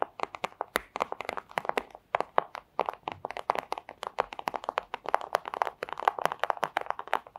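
Very long acrylic nails tap and scratch across a flat, thin, crinkly clear plastic pouch lying on a table with a red item under it. Dozens of quick, dry crackling taps come in a steady, uneven patter, each one crisp and centred in the midrange with bright edges. Every tap dies almost instantly, with no low-end body.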